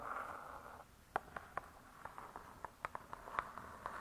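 One hand with long stiletto nails scratches the laminated board cover of a closed spiral-bound hardcover cookbook, making a soft, steady rasp for under a second. Then come about a dozen quick, crisp, separate taps, each dying away almost at once, with faint scratching between them in a quiet setting.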